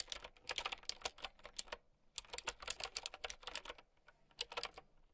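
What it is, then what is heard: Plastic mechanical keyboard. A mint-green typewriter-style mechanical keyboard with round plastic keycaps is typed on with long nails and fingertips. Quick, bright, clicky keystrokes come in bursts, with short pauses around the two- and four-second marks. Each click dies away almost instantly.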